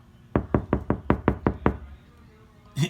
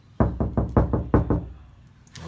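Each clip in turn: First: car door panel deadened with sound-damping mat. Second: hollow, undamped car door.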